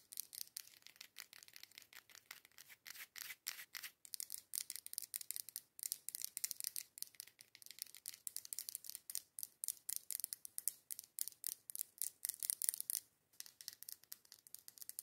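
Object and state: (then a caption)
Glass candle jar. Long acrylic nails rapidly tap and scratch the curved side wall of a medium matte dark-green labeled glass candle jar filled with candle wax, held in both hands. The result is a dense stream of quick, crisp clicks and scratchy rubs, almost entirely high and bright with no low end, with only a brief pause near the end.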